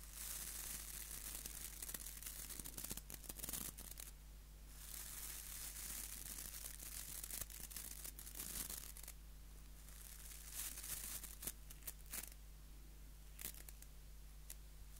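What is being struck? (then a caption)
Wooden nail brush with plastic bristles. Fingernails scratch and flick the white plastic bristles of a small, solid wooden nail brush held in the other hand. The result is a quiet, dry, crackling scratch with a bright hiss, broken by sharp, brief flicks. A steady low hum sits underneath throughout.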